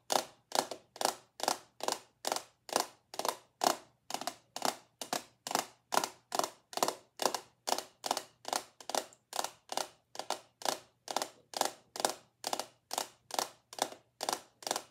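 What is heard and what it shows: A small clear glass perfume bottle, held up close, is tapped and scratched with long acrylic nails. It makes a steady run of short, crisp clicking taps, about two per second, each with a bright scratchy edge. The taps have a mid-pitched glassy tone that dies away almost instantly.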